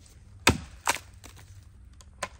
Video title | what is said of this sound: One Wrong Move, and… | that doesn't sound good to me